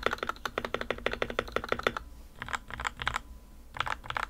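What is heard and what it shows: Fingertips type on the plastic keycaps of a white plastic RK61 60% mechanical keyboard with a foam and tape mod, first with one hand and then with two. A rapid, even run of short, muted, low-pitched clacks fills the first two seconds, followed by looser clusters of quick keystrokes with brief gaps. Each stroke dies away almost instantly.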